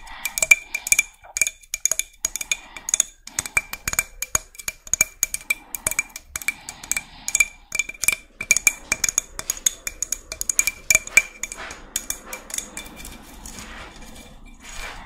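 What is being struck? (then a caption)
Spiny murex seashell. Long red nails tap and scratch a hollow, hand-sized white-brown spiny murex seashell, producing dozens of quick, bright clicks with a faint glassy ring near 2.4 kHz. The taps come in rapid bursts, and toward the end they give way to softer, hissy scratching across the shell.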